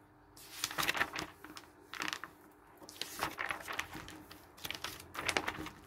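Fingers quickly flip through the thin glossy pages of a paper hardware catalog lying on a wooden table. Dry, bright rustles and crisp page flaps come in several bursts, with brief quieter pauses between them.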